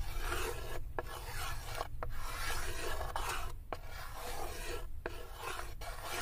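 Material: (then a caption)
Wood. Long acrylic nails scratch and rasp along the inner corner and wall of a light wooden serving tray, which is open and empty. The result is a steady, dry filing-like rasp with a heavy low rumble underneath, broken by brief pauses between strokes.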